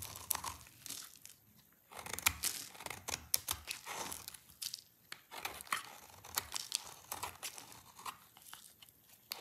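An oval bar of dry light-green soap is held in one hand and scraped and shaved with a utility knife blade, with the shavings piling up below. The result is a steady run of short, dry, crisp scraping and crunching strokes, bright and high with almost no low end, each stopping almost at once. Some strokes are louder, separated by brief quiet gaps.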